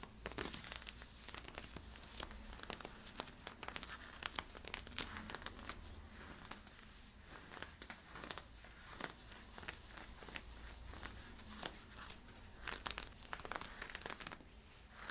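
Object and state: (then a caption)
Synthetic stretch fabric being scratched. Fingernails scratch worn camo polyester-spandex stretch leggings with white side stripes near the waistband and hip. Dense, bright, crinkly scraping bursts come in quick irregular flurries over a faint low hum. The sound stays quiet throughout.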